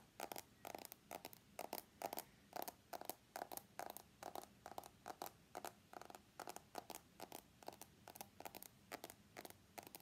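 An iPhone X is held on its edge while fingernails tap and scratch along its stainless steel frame. Rapid, irregular bursts of crisp, bright clicks and short scratchy scrapes follow one another throughout, each dying away almost instantly with a faint metallic tone near 700 Hz. The tapping stays quiet and steady, with almost no low end.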